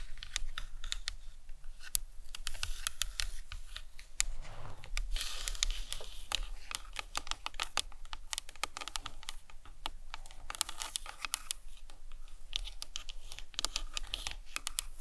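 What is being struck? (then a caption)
Plastic anatomical skull model. Long nails tap and scratch the cranium of a hollow plastic anatomical skull model. The result is a steady run of quick, dry clicks and brief scratchy strokes. Each sound is sharp and bright, dies out almost instantly, and sits over a faint low rumble.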